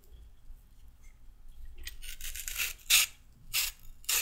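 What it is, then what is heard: Raw carrot being peeled. A solid raw carrot, held upright, is scraped lengthwise with a red-handled metal peeler. After a quiet start, a long bright rasping scrape builds up, followed by several short, sharp, hissy strokes.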